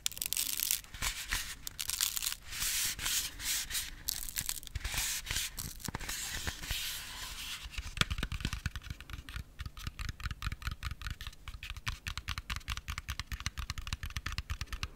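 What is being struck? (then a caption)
Thick MDF wooden ring. A large, thick, solid decorative letter O ring made of MDF pressed wood is held in both hands close to the mic and worked with fingertips and nails. For the first half, bright, rasping scratches sweep across the surface in uneven bursts. Then a fast, steady run of short, dull taps takes over, each dying away almost instantly.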